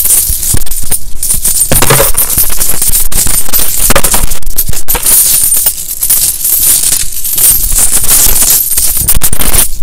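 A gloved hand scoops, lifts and drops handfuls of small solid metal coins, a large loose pile of mixed US coins (copper pennies and nickel-clad coins), back onto the pile resting on a towel. The coins jingle and clatter in a dense, almost continuous stream of bright, high metallic clinks that swell and ease as each handful falls, with short, quickly fading rings.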